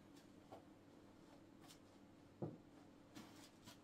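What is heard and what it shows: Three fairly soft knuckle knocks stand out over a steady room hum, the middle one loudest. Each is short, around 150 Hz, with a bit of low, boxy resonance rather than a hard tick. The wooden block is hollow, its air space giving the knock that dull, boomy body.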